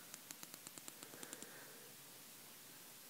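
Fingertips scratch and rub the gold pins and edges of a small, flat, square, solid computer processor with a ceramic body and gold pin grid, held in both hands. Eleven quick, bright ticking scratches come in a steady run over a quiet background hiss. A softer rub follows and fades into the hiss.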